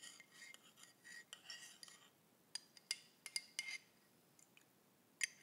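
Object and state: Ceramic mug, tapped and scraped.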